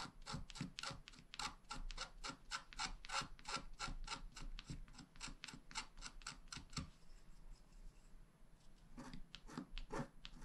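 A pointed wooden stylus scratches short strokes into the bottom grass area of a flat black wax-coated scratch art card, about A4, lying on a table and held by one hand. Quick, dry, bright scratching strokes come in a steady rhythm, then pause briefly before a few more strokes finish the clip.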